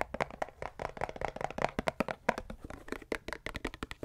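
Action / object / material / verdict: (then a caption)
tap / small plastic pump bottle / plastic / none. Long nails tap and scratch a small plastic Repel insect repellent pump bottle with a green cap, partly filled with liquid. The result is a rapid, uneven run of dry, close clicks and knocks with a hollow midrange tone, each dying away almost instantly, with light scratchy rasps between them.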